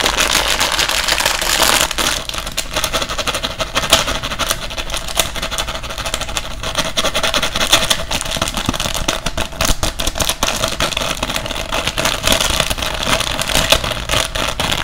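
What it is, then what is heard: Plastic pouch of cotton swabs. A small resealable plastic bag with an orange label, full of cotton swabs, is held in the hands and tapped and scratched quickly with fingertips and nails. The result is a dense, continuous stream of crinkly, bright scratching and rapid tapping. The sound stays at a steady level throughout.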